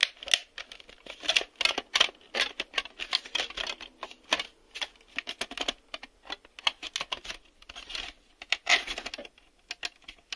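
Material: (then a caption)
Plastic. Fingertips tap on the shell and the white reel hubs of a hollow, black hard-plastic VHS video cassette that has been turned over to show its underside. The result is a quick, irregular run of dry, clicky taps that are bright and thin, with almost no low end and no ring after each hit.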